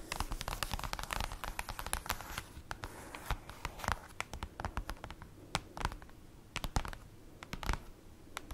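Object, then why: Glossy printed paper sheet. Long acrylic nails on both hands tap and scratch across a large, flat, dark, glossy printed paper sheet lying on a table. The result is a quick, irregular run of sharp clicks and dry scraping strokes, with a soft low thud under many of the taps and almost no ring after each one.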